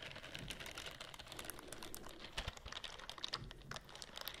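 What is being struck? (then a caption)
Silicone bristle scrubbing glove. Fingernails scratch the bristles of a white silicone scrubbing glove as it is rubbed close to the microphone. The result is a quiet, dense stream of quick, dry, bright clicks and scratches that sounds much like rapid typing, with a few sharper taps standing out near the end.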